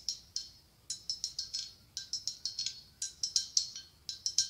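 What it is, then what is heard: Blown glass pumpkin. A medium hollow, ribbed white blown glass pumpkin with a gold stem is tapped and scratched with long acrylic nails. It makes 21 quick, bright, high-pitched clinks, each dying away almost at once. There is no low end, and short pauses separate the bursts of taps.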